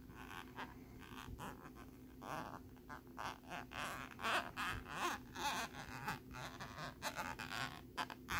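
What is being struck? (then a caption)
Thin plastic lenticular card. A thin plastic lenticular nebula card is scratched rapidly with the tip of a bobby pin and with fingernails. The result is irregular bursts of bright, raspy scratching that swell and fade in quick succession over a faint steady hum.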